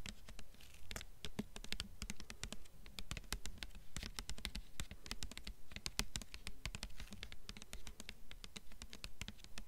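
Long fingernails tap quickly on the front cover of a blue hardcover book with a glossy paper dust jacket, mixed with some scratching. The result is a dense, irregular stream of sharp, bright clicks over a soft low rumble.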